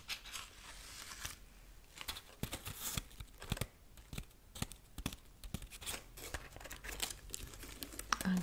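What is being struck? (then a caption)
Dried corn husk figurine. A tall decorative Easter rabbit woven from dried corn husks, with a hollow-looking body, is held upright and scratched along its husk strips with long painted nails. Dry, crackly rasps and crinkling scrapes come in quick, uneven bursts with bright, papery highs over a quiet background.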